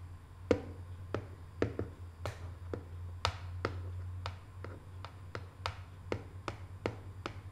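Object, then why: Small cardboard box tapped with fingernails. Long nails tap the lid of a small, hollow, closed rectangular decorative cardboard box covered in Paris photo prints. About eighteen short, dry, irregularly spaced taps land over a steady low hum, each one clicking brightly and dying away almost at once.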